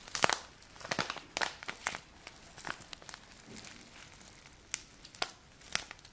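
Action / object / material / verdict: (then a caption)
scrape / small paper bag filled with dry grains / paper / none. A small paper bag tied with a ribbon and filled with a dry grain product is squeezed and rubbed with fingertips and nails. It gives bright, dry crinkling and crackling bursts with brief quiet gaps between them and almost no low end.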